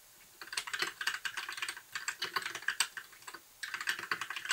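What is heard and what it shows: Fingertips type steadily on a compact white plastic mechanical keyboard with backlit keys and a hollow case, resting on a desk. Quick, bright clacky key taps come in dense bursts with almost no low end and very short decay, with a brief pause before the typing resumes near the end.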